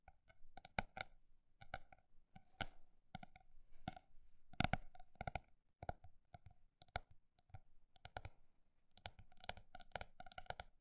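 A hardcover notebook with a textured, embossed cover, held upright, is tapped quickly across its surface with long black nails. Dense, dry clicking taps come in uneven fast bursts with brief pauses, each tap short and crisp with little ring.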